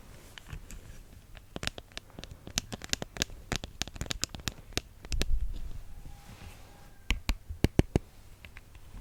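Reading glasses are tapped with quick, irregular light strokes, making around thirty short, sharp clicks. A brief soft rustling swell comes near the middle, and the last few taps land louder and more spaced out.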